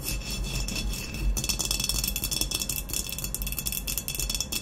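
Long nails tap rapidly on the matte black textured body of a hollow glazed ceramic vase, which is moved and then set upright. The taps are quick, dry clicks with a bright, glassy ring near 3.4 kHz over a low, soft rumble, fading almost instantly after each strike.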